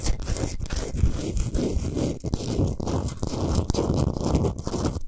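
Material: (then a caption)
Rock salt. Long nails scratch fast along the top surface and side edges of a large, flat, rectangular solid block of pink Himalayan rock salt. The result is a steady, dense, gritty crunching scrape with quick rustling bursts, heavy in the low end and with little bright top.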